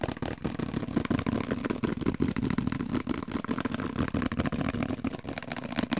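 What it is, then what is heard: Plastic microwave cover. Fingertips and nails tap rapidly on the top and sides of a translucent, hollow, plate-sized plastic dome microwave cover. The result is a fast, continuous stream of short, hollow plastic taps with a low-mid resonance and almost no ring after each hit.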